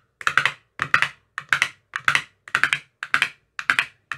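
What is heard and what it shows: A hand-held metal rod with a white tip taps into the green silicone cells of an empty clear plastic ice cube tray. Eight quick clusters of two or three dry, hollow, bright taps sound, each dying away almost at once.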